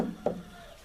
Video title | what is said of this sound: 1968 Dump Truck / before look at Fiber Glass & Bondo Repairs | sounds like a regular car like I never had any work done on it